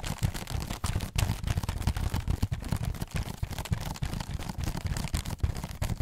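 Pink fingernails rapidly scratch and tap the hollow bottom of a textured, holographic foil-covered cardboard heart box. The result is a fast, dense stream of dull, hollow low thumps mixed with crackly, papery scratching. Each tap dies away almost at once.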